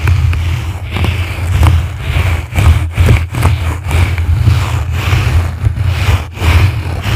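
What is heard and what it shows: A yellow, soft, porous foam windscreen on a microphone is scratched and brushed from both sides by two blue plastic-bristle brushes. The result is a heavy, muffled low rumble with fast scratchy rustling and brief bright scrapes on top.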